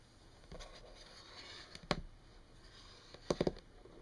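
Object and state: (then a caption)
Wood-grain desk tapped with fingernails. Long painted fingernails of both hands tap a flat, solid wood-grain desk surface, possibly laminate. Short, sharp, dry clicks come at irregular intervals, including one isolated tap and a quick cluster near the end, over a faint background hiss.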